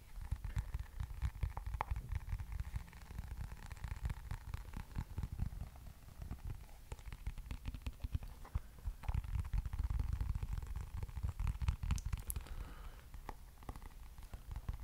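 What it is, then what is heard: Plastic hairbrush. Fingertips tap and scratch the back and bristles of a black plastic hairbrush with a long handle, held close to the mic. Dense, irregular soft taps and crackly scratches run continuously for about fifteen seconds, with a deep, muffled low-end thump and a few brighter clicks standing out.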